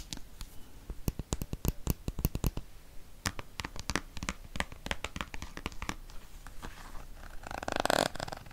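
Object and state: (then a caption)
Plastic cosmetic squeeze tube. A hand-sized, hollow dark green plastic cosmetic squeeze tube is tapped with fingernails and fingertips and scratched along its surface close to the microphone. Quick, dry clicks and taps follow one another in an irregular patter, with soft scratching between them. Near the end comes a brief, louder, brighter scratchy rasp.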